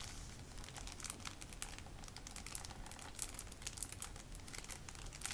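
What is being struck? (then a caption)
Plastic game case in shrink wrap. A small, flat, hollow PS5 game case made of hard plastic, still sealed in its clear plastic shrink wrap, is held in both hands and turned over while the fingertips tap and scratch the wrapped case. The result is a steady, quiet crinkling texture dotted with many short, bright tapping clicks and scratchy rustles, with a soft low-end bed underneath.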